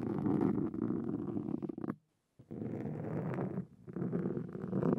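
A black foam windscreen on a Zoom recorder is scratched with the fine metal tips of two wooden-handled carving tools, making a dense, low, rumbling crackle right against the mic. The scratching stops for about half a second of silence around the two-second mark, resumes, dips briefly near 3.7 seconds, and continues steadily to the end.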